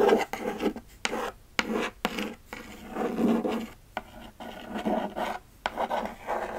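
A flat, closed, hollow kraft cardboard Sephora mailer box held in one hand is scratched and rubbed across its surface with long acrylic nails. A series of dry, raspy scrapes and rubs in short bursts, with a few sharp clicks where the nails catch the cardboard.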